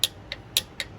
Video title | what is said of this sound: Alex's '77 Ironhead Chopper Project Ep. 2 | you can hear pretty well that it's tapping right on the bottom side of this case